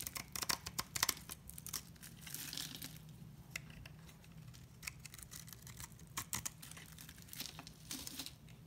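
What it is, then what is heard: Bar soap carved with a blade. A utility knife blade scrapes a solid white rectangular bar of soap held in hand, carving it into thin strips whose shavings fall onto shredded paper. Bright, crisp scraping and crackling bursts come in quick irregular clusters over a faint low hum, with each stroke ending almost instantly.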